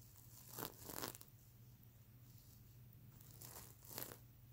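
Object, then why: Plastic sequins on a stuffed fabric pillow. Long nails scratch across and flip the iridescent plastic sequins on a stuffed fabric unicorn pillow. The result is bursts of bright, crinkly rasping separated by quieter stretches, over a steady low hum.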